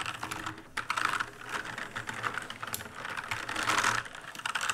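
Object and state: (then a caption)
Plastic mechanical keyboard. Rapid fingertip typing with both hands on an RGB-lit black mechanical keyboard with plastic keycaps produces a dense, continuous stream of bright, clicky clacks. Each keystroke is short and dry with little low end, and the typing swells into a louder flurry near the end.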